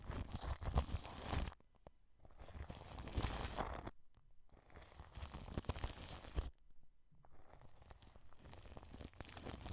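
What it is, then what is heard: Cling film brushed over a microphone. A wide paintbrush brushes the underside of a white dome microphone with a mesh grille that is wrapped in clear cling film. Crinkly, bright plastic rustling and crunching comes in four bursts separated by short quiet gaps, with a low rumbling thump beneath the strokes.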